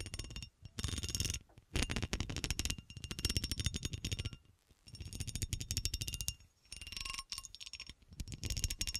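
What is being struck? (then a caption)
Cut glass horseshoe. Long nails scratch along the ridged cuts of a solid, textured cut glass horseshoe held in the hand. The result is a string of fast, dry clicking rasps in bursts separated by brief pauses. Each burst is bright on top with a low rumble underneath and almost no ring.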